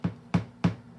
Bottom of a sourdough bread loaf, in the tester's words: hollow on the bottom when you tap it. Yep, sounds pretty hollow to me